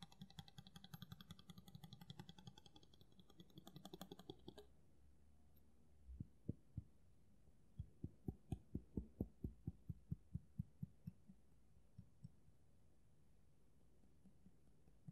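Fingertips tap on the solid steel blade of a kitchen knife with a black handle, held close up. The first few seconds are a dense, bright, ringing rattle of rapid light taps. After a short quiet pause, a series of sharp, separate, low thuds follows, each with a short metallic tick and very little ring.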